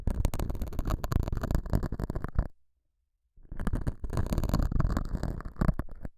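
A metal dental scaler with a white handle, held by a hand with long nails, scratches and picks at a small, solid, soft square beige felt pad mounted on a clip-on microphone. The result is dense, muffled, bassy scratching and rumbling in two bursts separated by about a second of silence.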